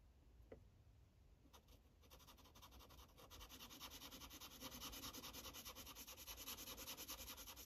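A red Sharpie felt-tip marker rubs back and forth over a thin white paper sheet of a coloring book lying flat, coloring stripes. Quiet scratchy strokes start sparse, then settle into a steady, fast back-and-forth rhythm of bright, hissing rubs that grow louder toward the end.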